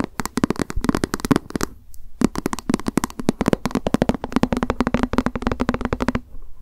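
Long acrylic nails tap quickly on a small, hollow, white plastic lunch box with a cat print, held in the hands. A rapid run of short, dry clicks carries a faint hollow tone around 200 Hz, with a brief pause near the two-second mark before the tapping resumes.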